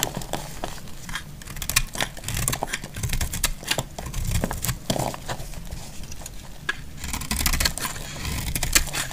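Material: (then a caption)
Soap. A utility knife blade shaves thin flakes from the face of a solid, dry green soap bar held in hand. Dense, dry scraping and crackling fill the clip, with many sharp, bright ticks over a steady low rumble. The cuts come in quick bursts that stop dead with almost no ring.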